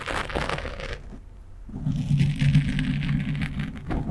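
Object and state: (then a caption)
Foam microphone windscreen being scratched. A fingernail scratches across the top and sides of a black foam windscreen on a microphone, using one hand. It starts with a fast, bright, crackly scratching burst, goes quiet for a moment, then turns into a continuous rough rustle over a low, steady hum around 150 Hz. It ends with another short burst of bright scratching.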